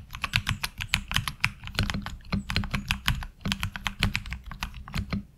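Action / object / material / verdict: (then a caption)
tap / mechanical keyboard with plastic keycaps / ABS plastic / none. A HyperX Alloy Origins Core tenkeyless mechanical keyboard with ABS keycaps is typed on with the fingertips of both hands. A fast, uneven run of crisp clacks carries bright, high click transients over a low, hollow thock. Each keystroke stops almost instantly, with no ring.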